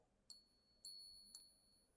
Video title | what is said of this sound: What's your GOLD jewelry worth? -- Tennessee Precious Metals | I can flick it and I know it's silver